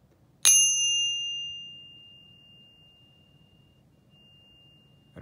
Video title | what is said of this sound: Silver Bar - Ping Test - Better Sound! | 10 ounce has such a beautiful resonance to it